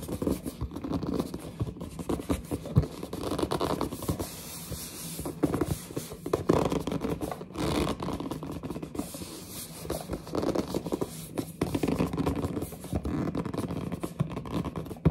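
Long, dark-painted nails scratch and grip the front face of a large, closed, glossy printed cardboard box for a pink gaming headset. The result is a steady stream of dense, dry scratching and rubbing that stays soft and low-heavy, with quick bursts of faint friction throughout.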